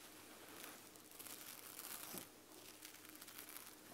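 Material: Plush fabric.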